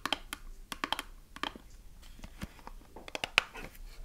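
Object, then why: Small closed cardboard soap box. Long nails fast-tap the faces and edges of a small closed cardboard soap box as it is turned in the hands. About a dozen quick, dry, bright clicks sound over a faint soft scratching, each dying almost instantly with no ring, the sharpest peaking around 2.5 kHz.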